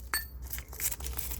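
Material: Charcoal.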